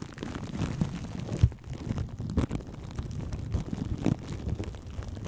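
Long nails and fingertips scratch and tap plastic cling film wrapped over a microphone held in both hands. The result is a muffled, low rumbling rustle with almost no bright content, broken by a few louder, deeper thumps where the wrap is pressed or tapped.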